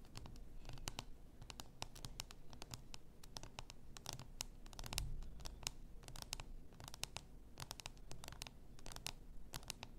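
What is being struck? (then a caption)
Glass bath salt bottle. Long nails steadily scratch the rounded shoulder of a full bath salt bottle, likely glass. The result is a quiet run of dense, bright, crisp scratching clicks over a low, steady hum.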